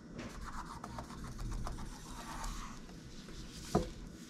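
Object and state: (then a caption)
Plastic laptop keyboard being scrubbed. A gloved hand scratches and rubs a cotton swab over the plastic keys of a laptop keyboard, making a steady, soft, low scraping hiss. Near the end the hand moves toward the palm rest, producing a single sharper knock before the rubbing fades.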